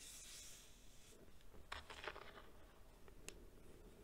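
A flat palm presses into a bowl of loose white baking soda powder, then fingertips dig in and hands squeeze a packed handful. It makes a soft, hissing rustle with short, bright crunchy squeaks as the powder compacts, all over a low background rumble.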